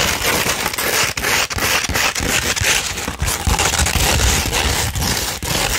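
Long pointed red-painted nails of both hands scratch a thin, flat sheet of fine tan 240-grit sandpaper. The result is a continuous, dense, gritty rasp with bright, hissy texture, brief dips between strokes, and soft low thumps underneath.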